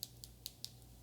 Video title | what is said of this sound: The Best Gluten-Free Yorkshire Pudding - Light, Crispy & Perfectly Golden! | Nice and hard. You can really hear how crispy it is on the outside.